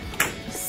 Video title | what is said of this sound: IMSA field trip 5th grade | it sounds like glass bouncing, but not breaking